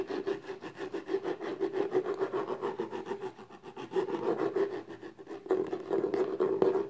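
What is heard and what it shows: Long nails scratch and rub quickly back and forth across the embossed lid of a small, closed, hollow black textured cardboard gift box. The result is a dense, rhythmic raspy scraping with a hollow midrange resonance. It softens briefly near the middle, then returns louder toward the end.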